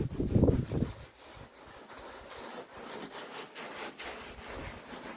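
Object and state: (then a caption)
Wool pile rug being scrubbed wet. Hands in orange rubber gloves rub and scrub a small red traditional wool pile rug covered in soapy foam. A loud, low, rumbling burst of wet rubbing in the first second gives way to quieter, continuous, irregular scrubbing strokes with a soft hissing texture.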